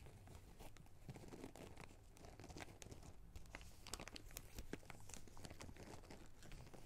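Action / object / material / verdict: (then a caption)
scrape / plastic zip bag holding small rubber rings / plastic / none. A small clear plastic zip-lock bag of small red rubber rings is held in both hands and crinkled and rubbed with the fingertips. The result is a steady, dense crinkling with sharp, bright crackles scattered throughout over a low, rumbly undertone.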